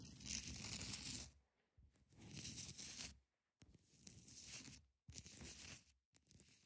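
Long nails scratch across the top and side edges of a large solid ice block. Several rasping, tearing-like passes come in bursts separated by short silences, each a bright, gritty hiss with a low rumbling undertone.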